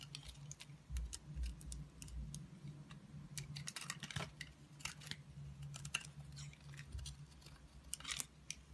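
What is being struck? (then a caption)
Bar of black soap cut with a utility blade. A solid black soap bar is held in the hand while a green-handled utility blade cuts and scrapes slices from it. Many short, crisp scraping and clicking cuts come in quick, uneven bursts. The bright, dry slicing sits over a steady low hum.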